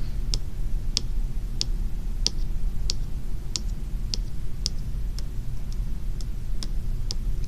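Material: Plastic, steel.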